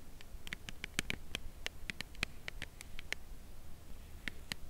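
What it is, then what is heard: Cardboard chocolate bar box tapped with nails. Long nails tap the narrow side edge of a full cardboard chocolate bar box held horizontally. Light, dry clicks come in an irregular, slow-to-quick rhythm, each one sharp, bright and very brief over a faint low background hiss.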